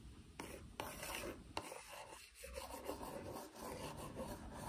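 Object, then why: Cardboard biscuit box. Fingertips and long acrylic nails rub and scratch a hollow, medium-sized printed cardboard box of Domaćica tart biscuits held on the lap. The result is a steady, dry rasping and scraping texture, broken by three sharp clicks of the nails in the first two seconds.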